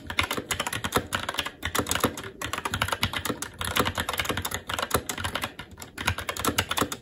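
Fingertips of both hands type continuously on a SteelSeries Apex 7 TKL mechanical keyboard with red linear switches, black plastic keycaps and an aluminum plate. The result is a steady stream of rapid, short, bright clacking key taps with a light low thud underneath, broken by brief pauses.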